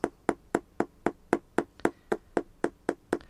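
A dead, deteriorated sole on an early-model vintage all-leather Hi-Tec hiking boot, a 2012 model, is knocked 14 times at a steady pace of about two per second. Each knock is a short, dry, hollow tap with a low-mid body and almost no ring. This dull, lifeless sound shows the sole has gone dead.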